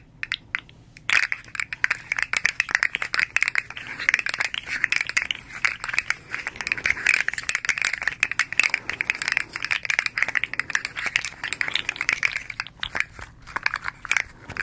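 A small hand-held, hollow articulated slug fidget toy with rainbow-striped hard plastic segments is flexed, rolled, tapped and scratched with long acrylic nails. After a few sparse clicks, a dense, continuous stream of sharp, dry clicking and rattling from the segments sets in, bright and high-pitched, centered around 2–3 kHz, with no low end.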